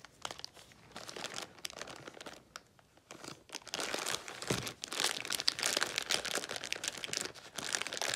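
A small red-and-clear plastic zip bag of Mr. Lucky celery sticks, full of celery, is held in both hands and pulled open along its zip seal with long pink nails and fingertips. Bright, dense crinkling and sharp tearing of the plastic start in quieter, scattered bursts and grow louder and more continuous after the first few seconds.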